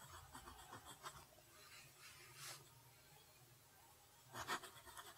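A steel fountain pen nib writes cursive across a flat sheet of lined paper, making quiet, continuous scratching strokes with short bursts of bright rasp. A louder scratching flurry comes near the end.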